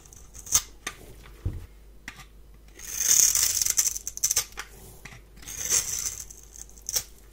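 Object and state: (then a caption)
Bar of soap being scraped. A palm-sized, solid rectangular bar of white soap is held in one hand and scraped with a metal blade, raising white flakes. Short, crisp, bright scratches alternate with two longer, hissy scraping passes, all high in pitch with almost no low end. Each sound stops quickly with little ring.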